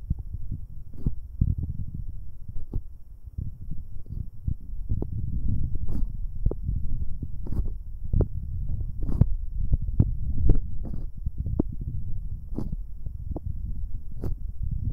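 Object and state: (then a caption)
Metal microphone capsules rubbed directly. Fingers wearing rubber finger cots rub both metal binaural microphone capsules directly. The result is a dense, low, muffled rumbling friction, broken by frequent soft thumps and brief brushing clicks that flicker up into the highs. It runs at a steady, close level throughout.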